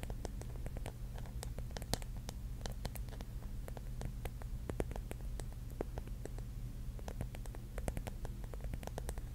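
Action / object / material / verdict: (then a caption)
tap / mushroom figure covered in small mirror tiles / glass tiles / none. Long nails tap and scratch the cap of a rigid pink mushroom covered in small mirror tiles. Many quick, sharp, bright clicks and scrapes come in irregular bursts over a steady low hum.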